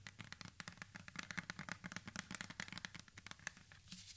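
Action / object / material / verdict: scrape / plastic spray bottle / plastic / none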